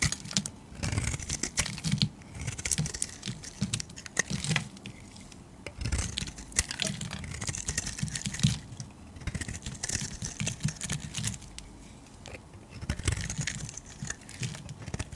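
A metal utility-knife blade scrapes and cuts flakes from a solid oval orange-tan bar of soap held in the hand. Rapid, crisp crackling scrapes and bright ticks come in dense bursts over a soft low rumble. Brief quieter gaps separate the runs of carving.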